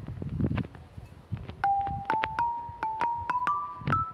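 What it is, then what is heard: Limestone lithophone bars. A hand strikes a mounted set of long, solid grey limestone lithophone bars, with marine-themed relief carvings, bolted onto a stone frame outdoors, using a homemade mallet with a carbon fibre shaft and a rubber ball head. Short, bright, ringing notes climb step by step in a rising melody, each decaying quickly over low background noise.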